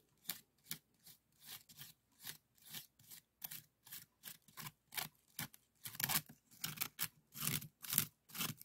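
A small hollow woven bamboo bokjori scoop with colored strips is held in hand and scratched and rubbed with a bamboo stick wrapped in yellow. The result is a series of short, dry, bright scratching strokes at an irregular pace. The strokes grow louder and fuller toward the end.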